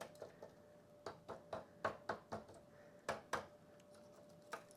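Baked sourdough discard crackers are tapped after baking to test them, giving a series of short, sharp clicks in irregular bursts over a faint steady hum. The crisp taps show the crackers have hardened and are done, golden brown and crispy.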